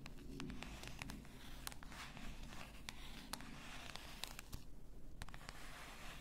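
Long nails scratch across the upper body and label of a full bath salt bottle, likely glass. The result is a soft, steady scratching with a low, muffled undertone, dotted with brief, sharp, bright clicks that die away almost instantly.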